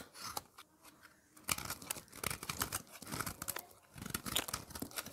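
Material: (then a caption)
Soap. A utility blade repeatedly scrapes and shaves the surface of a thin, solid, red dry bar soap slab held in the hand. The result is crunchy, bright, dry scratching in quick, uneven bursts. It is sparse and quiet at first, then dense from about one and a half seconds on.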